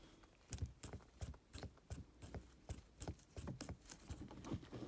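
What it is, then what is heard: Leather gear lever boot. Gloved fingertips and nails quickly scratch and tap a black stitched leather or faux-leather gear stick boot on a car console, which is soft and hollow underneath. The taps land as rapid, soft, low thumps that die away almost instantly. Brief bright scratchy rustles come between them in an irregular patter.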